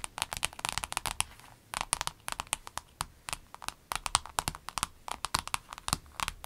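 Long acrylic nails on both hands tap a rainbow clear vinyl pencil case lying flat on a table. The result is a rapid, uneven run of short, dry, crisp clicks with a bright, papery crinkle. Each tap dies away almost at once over a faint hiss.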